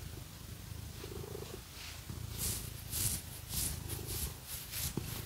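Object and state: Nothing is struck.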